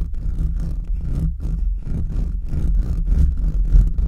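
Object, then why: Metal mesh microphone grille. Fingertips and short nails scratch fast and aggressively across the bare, hollow metal mesh grille of a large USB microphone. The result is a rapid, uneven run of deep, boomy scraping bursts, heavy in low rumble, with faint brushy hiss above.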